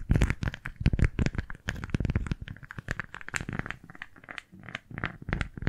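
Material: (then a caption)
Waxed fabric. A pink floral beeswax-coated fabric food wrap is scrunched and gripped in both hands while fingertips and nails crinkle the waxy cloth. The result is a dense run of short, dry crinkles and crackles over a heavy low rumble, with the handling growing louder and fuller as the wrap is briefly brought close to the microphones.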